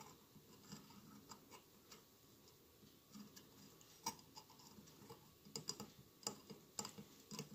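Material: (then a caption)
Glass. Fingertips and nails scratch and rub across the bumpy glass mosaic tiles of a hollow glass votive candle holder with a lit tealight inside. The result is a quiet, steady scratchy rustle dotted with short, bright glassy ticks and clicks. The clicks grow sharper and more frequent toward the end.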